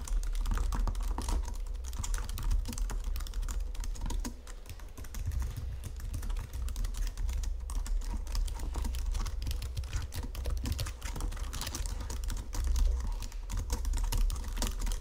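Fingertips and nails type rapidly on a white plastic Logitech keyboard resting on marble. The result is a steady, dense stream of soft plastic clicks and taps over a heavy low thump, easing briefly around four seconds before resuming at the same pace.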